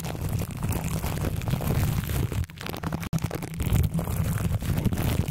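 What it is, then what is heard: Plastic cling wrap scratched over a metal microphone grille. Both hands scratch and crinkle clear plastic cling film wrapped over the hollow metal mesh grille of a large metal condenser microphone, using fingertips and nails. A dense, steady stream of boomy, low-heavy crackling and rubbing fills the clip, dipping briefly near the middle and cutting to near silence for an instant before resuming just as thick.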